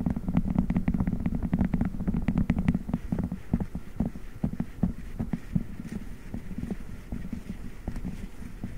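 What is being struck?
Silicone spiked massage pad.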